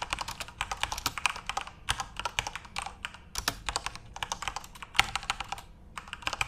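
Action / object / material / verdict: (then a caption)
tap / plastic keyboard keys / plastic / none. Continuous fingertip typing on a backlit plastic Corsair mechanical RGB keyboard gives a steady run of sharp, bright key clicks with a faint lower thud under some strokes. Each click is dry and stops almost at once, with brief pauses between bursts of typing.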